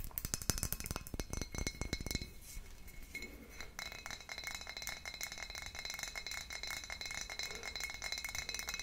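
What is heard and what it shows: Long nails tap and scratch a full, dark glass wine bottle on both its paper label and glass body. For about the first two seconds, quick, bright clinking taps come in a dense run. The rest is steady, softer, high-pitched scratching with a faint glassy ring.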